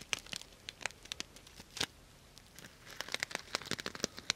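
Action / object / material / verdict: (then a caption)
scrape / sequin-covered fabric pouch / plastic sequins / none. Fingertips and long nails brush and scratch the plastic sequins on a soft, hollow purple sequin fabric cosmetic bag. Quiet, bright, crinkly scratches and dry clicks come in irregular bursts, ending sharply with no ring. A brief lull comes in the middle before denser scratching resumes.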